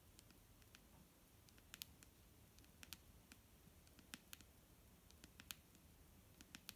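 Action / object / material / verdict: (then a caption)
tap / plastic bottle of liquid / plastic / none. Long fingernails tap the side of a large, clear plastic micellar water bottle, full of foamy liquid and held in one hand. Irregular, sharp, bright clicks die out almost instantly, scattered over a quiet, steady low rumble.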